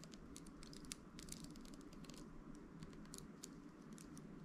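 Fingertips and nails scratch and flick the dense pin bristles of a hand-held round hairbrush with an amber translucent plastic barrel and handle. Quiet, rapid, crisp ticks and bright scratchy flicks patter irregularly over a steady low hum, each one dying away almost instantly.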